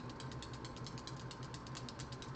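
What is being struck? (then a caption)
Glass nail polish bottle with metal mixing balls. A bubblegum pink glass nail polish bottle is shaken before use, and the little metal mixing balls inside rattle in a quick, steady rhythm of bright clicks over a low background hum. The rattle is normal: the balls are there to help the polish shake and mix more efficiently.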